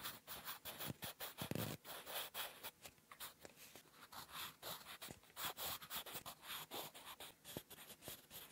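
A wooden graphite pencil with a blue end, held in the fingertips, writes cursive letters on a flat sheet of lined writing paper resting on a firm surface. The result is a quiet, rapid run of short, bright scratching strokes with brief pauses between them.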